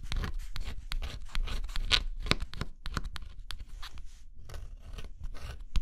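A thin pointed stylus held in the fingertips scratches the black scratch-off coating off a flat, assembled cardboard jigsaw puzzle lying on dark cloth. Quick, irregular scraping strokes follow one another closely, each a short dry rasp with bright, hissy edges and a soft low rumble underneath. The coating is steadily scratched away with close, crisp detail.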